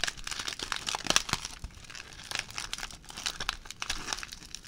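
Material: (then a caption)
Aluminium foil. A ball of crumpled aluminium foil is squeezed and stretched with the fingertips, giving dense, bright crinkling and crackling with little low end. Sharp crackles peak around the one-second mark, then the crinkles continue at a steady, softer level.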